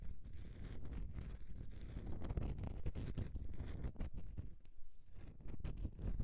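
Long nails scratch across the scraped face of a solid bar of soap tilted in the hands. The result is a steady run of rough, rapid scratching with a heavy low rumble, dotted with sharp, bright clicks and brief dips where the strokes pause.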